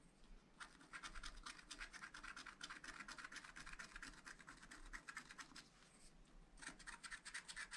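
A wooden stylus scratches dense, rapid strokes into the coating of a flat black scratch-art paper sheet in a spiral pad, while a hand holds the pad still. The sound is a steady run of dry, bright scratching centred around 1.4 kHz, with a brief lull near the six-second mark before the strokes resume.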